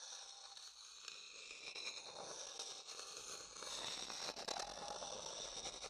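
A medium dark-brown hollow wooden bowl, empty and held in one hand, is tapped and scraped inside with a wooden stick. The result is a quiet, continuous dry scraping with a bright, crackly texture, soft irregular taps, and a faint woody tone near 800 Hz. It grows slightly louder in the second half.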